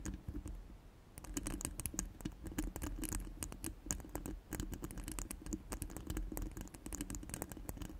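Long pointed nails scratch rapidly across a hollow steel mesh microphone grille, making dense, fast scratchy clicks and taps with bright, crisp edges over a low rumble. The scratching starts softer and then settles into a steady, busy patter for the rest of the clip.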